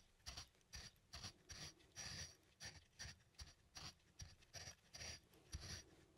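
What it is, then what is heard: Wooden mortar and pestle. A wooden pestle, held upright by small plastic hands, is ground and rubbed against the inside of a small, hollow, turned wooden mortar that appears empty. It makes a quick series of bright, dry rasping strokes, each with a soft low knock of wood on wood. The strokes come in short bursts with brief quiet gaps between them.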